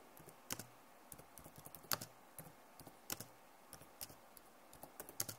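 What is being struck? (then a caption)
Plastic laptop keyboard. Both hands type fast with long nails on a backlit plastic laptop keyboard. About fifteen sharp, bright clicks and taps come at an uneven pace, each stopping almost instantly. Light scratchy nail noise sits over a quiet background.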